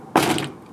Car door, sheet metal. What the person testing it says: that just sounds like metal